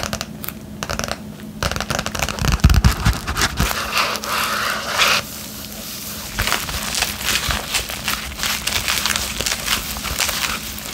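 A medium yellow padded bubble mailer made of paper and plastic, with a plastic wrap layer, is held flat and hollow in both hands while long painted nails scratch and tap across it. The result is a dense run of crinkling, crackling scratches mixed with quick, dull taps, some louder bursts standing out against a steady rustle.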